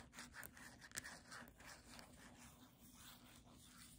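Long nails and fingertips rub and scratch the glossy back cover of a paperback book. A series of soft, bright scratchy strokes comes first, then settles into a quieter, steady rubbing hiss.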